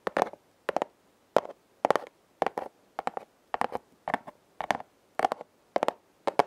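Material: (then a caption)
Cardboard. A flat, hand-sized red corrugated cardboard heart, possibly a hollow heart-shaped box, is held upright while long nails scratch and tap its corrugated ridges. About a dozen short, dry bursts of raspy scratching and tapping come at a steady pace, centered in the midrange with a bright crackling edge. Each burst cuts off with no ring, leaving near-silence between them.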